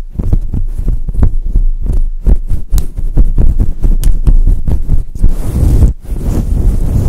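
Long pointed acrylic nails scratch a fluffy grey faux fur microphone cover with both hands. The result is a dense, deep rumbling and thumping scrape, almost entirely low in pitch, with rapid overlapping strokes and a brief pause just before the end.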